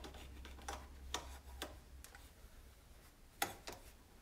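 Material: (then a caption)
Plastic. A hand wipes and rubs around the knobs of a white plastic control panel with a hollow housing on an electric range, using a cloth. Quiet, dry rubbing is broken by several short, sharp, bright ticks that die away almost instantly, over a low hum in the first half.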